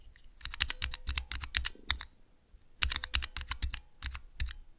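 Fingertips rapidly press the keys of a small clear plastic 3x3 key switch tester fitted with Cherry MX mechanical switches. Two bursts of quick, crisp clacks come through, each with a bright high click and a low thock. A short quiet pause separates the two bursts.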